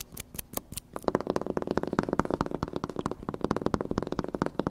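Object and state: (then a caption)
Laminated paper sign. A thin, flat plastic-laminated paper sign taped to a wall is scratched and tapped across its glossy surface with fingertips and nails. First come a few sparse, bright taps, then after about a second a dense run of quick, dry, low-mid clicks and scratches, each dying away almost instantly.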